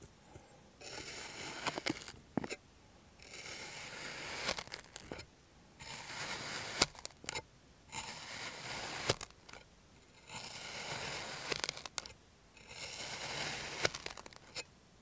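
A clear plastic serrated knife cuts strips from a solid mound of purple kinetic sand. Repeated bursts of bright, hissy scraping and crumbling alternate with short quiet pauses, and sharp little clicks are scattered throughout.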